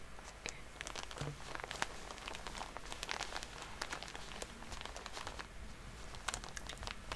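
A full Shiseido soft plastic cotton pad pack is held and squeezed with long polished nails and fingertips, while a nail polish bottle stands nearby untouched. The plastic gives a steady, bright crinkling and crackling with many sharp little ticks and taps over a low, quiet background.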